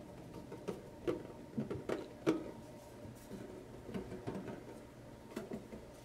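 Fingertips and short nails tap and scratch the side and bottom edge of a small, hollow, printed tin lunchbox. Light, sparse taps with a short hollow metallic ring sound over a quiet background, with soft scratching in between.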